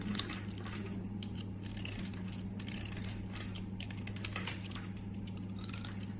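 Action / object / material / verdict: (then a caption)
scrape / bar of soap scraped by a small metal blade / soap / none. A small metal utility blade shaves and scrapes flakes off the scalloped edge of a solid yellow bar of soap held in a hand with long red nails, while a green soap lies untouched nearby. Soft, crisp scraping and flaking strokes run continuously over a steady low hum, with bright shaving bursts throughout.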